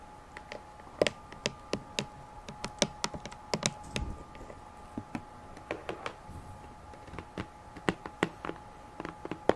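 A rectangular pink cardboard gift box, hollow with its contents not visible, is held up and tapped with long nails. The result is a long run of quick, dry, clicky taps at uneven intervals, with a faint steady tone beneath.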